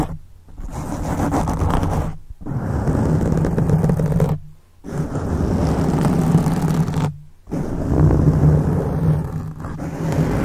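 Fingertips of both hands scratch and rub a black foam microphone windscreen in four long bursts, separated by brief silences. The sound is a dense, low, rumbling scrape with a faint steady hum.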